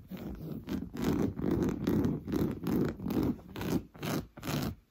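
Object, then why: Woven fabric sofa cushion. Fingernails rapidly scratch an orange, coarse-weave fabric sofa cushion that is soft and padded. The result is a fast, rhythmic series of dry, raspy scratching strokes with a muffled low-mid body and faint bright edges, about two strokes per second.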